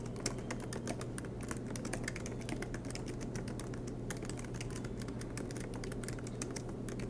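Both hands type continuously with their fingertips on a silver MacBook Pro keyboard with black plastic keycaps and an aluminum body, lying flat on a desk mat. A rapid, steady stream of short, bright key clicks plays over a constant low hum near 113 Hz.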